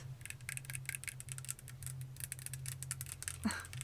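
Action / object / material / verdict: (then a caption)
tap / decorative egg prop / unknown / none. Fingertips tap rapidly and repeatedly on a gold-coloured, shiny decorative dragon egg prop, making a fast patter of light, bright clicks with very short decay. A steady low hum runs underneath throughout, and one slightly louder tap near the end has a brief fuller ring.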